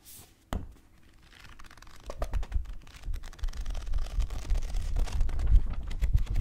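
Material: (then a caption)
Paper. A thick paperback book with paper pages is held in one hand near the microphone while fingertips riffle and flip the page edges. A sharp click opens it, followed by quiet fluttering that builds into a rapid, irregular patter of soft, dull paper taps and crinkles, heaviest in the low end.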